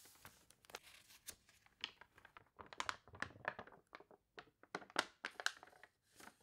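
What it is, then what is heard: Glossy paper catalog pages crinkled. Long nails press, rub and crinkle the wavy, glossy pages of a paper toy catalog, then flatten the spread. Quiet, bright crinkling and crunching comes in short, sharp bursts with little low end, separated by brief silences.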